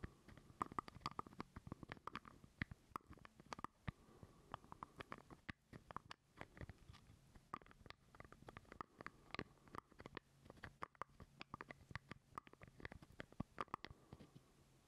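A small hollow purple plastic jar lid is held close to the microphone while fingernails scratch and tap across it. The result is a quiet, dense run of dry, short clicks and scrapes with no ring, and a faint steady hollow tone underneath.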